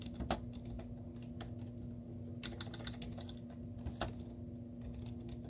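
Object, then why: Plastic laptop keyboard. Long teal-painted nails and fingertips type rapid taps on a white plastic laptop keyboard with cartoon stickers on its hollow keys. Quick, short, hollow clicks come with bright nail ticks over a steady low hum.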